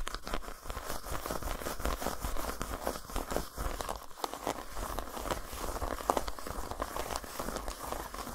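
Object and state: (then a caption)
Dark chocolate bar. Long nails scratch and tap the dotted, textured top of a solid, flat dark chocolate bar lying on a towel. The result is a dense, continuous crinkly scratching with quick, dry taps and a steady low rumble underneath.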